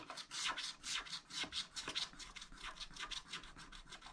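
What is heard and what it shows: A wooden stylus scratches large areas of black wax coating off a scratch-art pad page, a thin coated card lying flat on a table, revealing blue sky underneath. Continuous, bright, rasping scratching strokes repeat at an uneven pace of about two per second, with very little low end.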